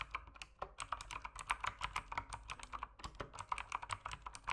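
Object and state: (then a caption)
Plastic mechanical keyboard. Fingertips type continuously on an RGB-lit mechanical keyboard with plastic keycaps. A rapid, uneven stream of short, crisp clicks centered around 1.2 kHz, with bright high edges and very little low end. Each keystroke dies away almost instantly.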